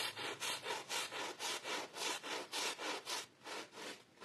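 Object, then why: Pile carpet scrubbed with a bristle brush. A green handheld bristle brush, held in a gloved hand, scrubs a wet, foamy blue and red pile rug. The brush makes rapid, steady back-and-forth strokes, each a bright, hissy rasp with a slightly wet, frothy texture. The strokes come in an even rhythm and fade a little toward the end.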